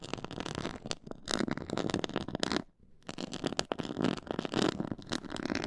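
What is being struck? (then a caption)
Pyramid-textured faux leather board. Long nails scratch a black pyramid-textured faux leather board, making dense, rough scratching with crackly, bristly texture. The scratching briefly stops near the middle, then resumes just as busily to the end.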